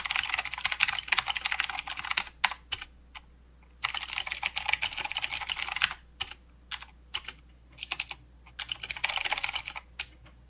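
Both hands type with their fingertips on a full-size mechanical keyboard with plastic keycaps and blue clicky switches. Rapid, bright, sharp clicks come in three dense bursts, with scattered single keystrokes and short quiet gaps between them. Each click dies away almost instantly, with very little low end.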